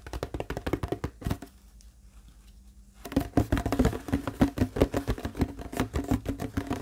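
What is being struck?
Large plastic water bottle.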